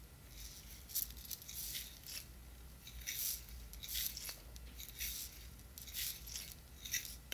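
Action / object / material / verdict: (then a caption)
tap / small plastic jar filled with chunky glitter / plastic / none. Long nails tap and scratch a small, clear, square plastic jar with a white lid that is full of chunky glitter, and the jar is shaken. The result is a quiet run of bright, crisp clicks and rattling, gritty scratches that come in short bursts over a faint low hum.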